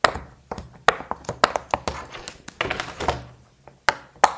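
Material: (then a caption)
Silicone. Fingertips press the hollow bubbles of a small, square, rainbow silicone pop it fidget toy, empty except for a little leftover plaster dust, popping them in and out. The result is an irregular series of short, sharp pops and soft thunks with a hollow midrange tone, bright clicky edges and almost no ring.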